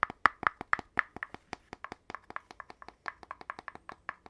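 An empty, hollow red cardboard poster tube with a gold-rimmed cap has its cap and body tapped by fingertips, and the cap is handled and refitted. About two dozen quick, dry, hollow taps sound in a steady run with a mid-pitched, boxy resonance and almost no ring.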